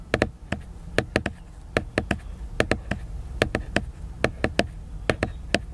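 Fingertips tap the glossy cover of a large, solid, flat laminated cardboard hardcover book. The taps come in quick pairs and triples over a low steady background hum. Each is a short, dry knock with a slight hollow midrange tone that dies away almost at once.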